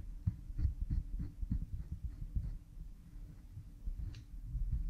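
A cotton swab rubs behind an oiled pink silicone ear model microphone, close up. The sound is a deep, muffled series of soft thumps and rubbing strokes at an uneven pace, with almost all of its energy in the low range. A faint steady hum sits underneath.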